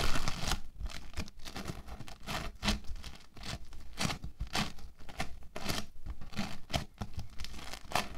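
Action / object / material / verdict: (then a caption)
scrape / lump of foam bead clay / foam beads / none. A solid lump of orange foam bead clay is pressed, rubbed and kneaded with fingertips and palms. Dense crackling, crunchy and squishy bursts come in quick irregular waves with brief quiet gaps, over a low rumbling body and bright crisp edges.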